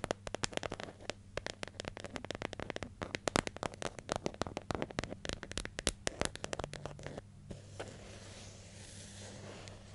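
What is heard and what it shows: Long nails tap and scratch the lid and sides of a hollow, medium yellow plastic hair gel jar with a screw lid and printed label, held in the hand. Quick, sharp, dry clicks come in a dense, uneven stream over a faint steady low hum. After about seven seconds the tapping stops and only a soft, hissy scratching remains.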